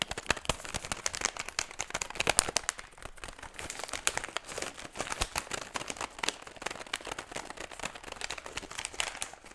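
An empty metallized plastic foil chip bag is crumpled and squeezed with both hands close to the microphone. Dense, bright crinkling and crackling runs throughout as a steady stream of sharp snaps, with little low end.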